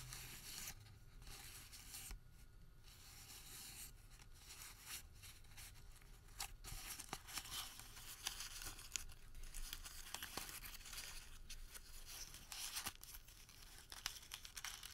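A wrinkled white thermal paper receipt is folded and crumpled by the fingertips, making a quiet, continuous bright crinkle with sharp crackling snaps over a soft low rumble. The crisp rustling swells slightly louder in the second half.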